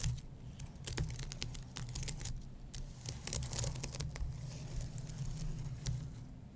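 Fingertips and nails tap and scratch the lower key rows of a white low-profile keyboard with plastic keys on an aluminum base. Quick, dry clicks and bright scratching strokes come in an irregular stream over a steady low rumble.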